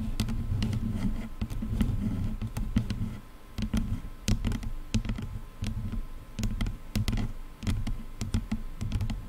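Long nails scratch and tap the top of the plastic headband on a pair of over-ear headphones. A dense, low, muffled rubbing runs throughout, broken by many short, sharp taps with a brief quieter stretch in the middle.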